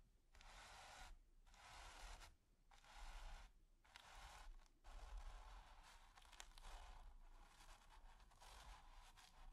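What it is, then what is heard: Bristle brush scratching textured canvas. The tip of a stiff bristle brush is scratched back and forth across a flat, taut, finely textured grey primed canvas. It makes quiet, dry, hissing scrapes that run in bursts with brief pauses between strokes. The sound is bright and papery over a faint low rumble.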